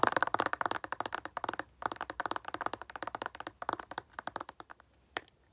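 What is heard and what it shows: A moisturizer bottle is tapped quickly for an ASMR trigger, giving crisp, dry clicks centred around 1 kHz that die away almost at once. The taps come in fast bursts with short pauses near 1.7 and 4 seconds, then thin out to a final lone tap just after 5 seconds.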